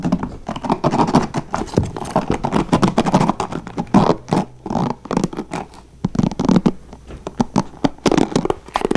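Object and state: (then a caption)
Plastic paddle hairbrush bristles strummed. Fingertips and nails scratch and strum fast across the plastic bristles of a blue plastic paddle hairbrush held over a wooden table. The result is a dense, rapid patter of short crackling scrapes with little ring, mostly low-mid in tone and dipping briefly in loudness around the middle.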